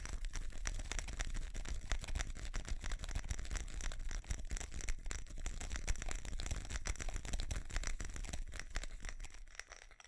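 Fingernails scratch and tap a small ceramic light-up Christmas tree with plastic bulbs, held in both hands. A dense, steady stream of scratchy clicks and light taps runs over a low rumble throughout. The sound thins out and quiets in the last half second.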